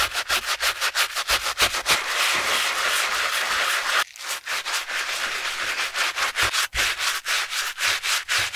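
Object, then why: Knit fabric running shoe upper. A gloved hand scrubs the black knit textile upper of a hollow, empty Skechers running shoe resting on a towel, using a wooden-handled bristle brush and soapy foam. Rapid, bright, scratchy brushing strokes come about three per second, blurring into a steady rub for a couple of seconds before a brief pause and then resuming in quick back-and-forth strokes.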